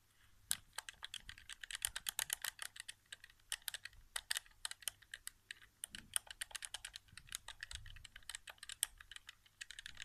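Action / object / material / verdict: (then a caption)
tap / plastic game controller / plastic / none. Fingertips tap rapidly on the buttons of a hollow white plastic PS4 game controller resting on carpet. The result is a quiet, continuous stream of dry, bright plastic clicks that stop instantly with no ring and carry very little low end.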